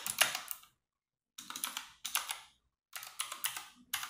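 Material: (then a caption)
Plastic. Fingertips and long nails type on a compact 60% RGB-backlit mechanical keyboard with plastic keycaps in a dark room. Quick bursts of bright, crisp plastic clicks and clacks come in short runs separated by brief silent pauses.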